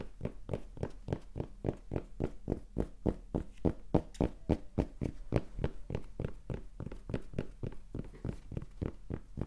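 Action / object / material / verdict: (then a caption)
tap / cotton baseball cap / cotton / none. Fingertips rapidly tap and scratch the front panel of a hand-held red cotton baseball cap with a printed "Rapala" logo and a soft, hollow crown. About 33 quick, soft, dull thumps arrive at a fairly steady pace of roughly three to four per second. Each one is mostly low and dies away almost instantly, with a faint scratchy rustle in between.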